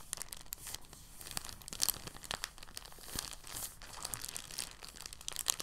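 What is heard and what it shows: A thin, translucent, empty plastic bag, folded flat, is pressed with fingertips, making a soft, continuous crinkling. Quiet, bright crackles and sharp little snaps come in uneven bursts throughout, with almost no low end.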